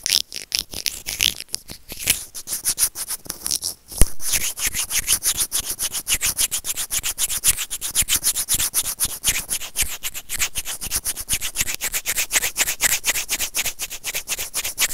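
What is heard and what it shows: The tips of white plastic tweezers rub and scrape a small, hollow white plastic earphone remote with built-in mic, making bright, dry scratching strokes close to the mic. The scraping starts sparse and halting with short pauses, then settles after about four seconds into a steady, rapid run of raspy strokes.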